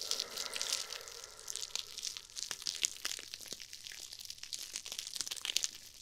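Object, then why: Foam-filled nylon mesh scrub sponge. Two small foam-filled nylon-mesh scrub sponges, one pink and one red, are held between fingers with long painted nails and squeezed and crushed right next to a microphone. The result is a dense, bright crinkling crunch of rapid crisp crackles and sharp snaps, almost entirely high-pitched with no low end. A soft midrange rustle underlies the first couple of seconds.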